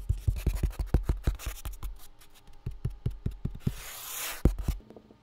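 A full box with contents inside is tapped with quick, irregular fingertip-style taps that land as dull, low thuds with almost no ring. Partway through, a brief bright scratchy hiss rises before a few final taps.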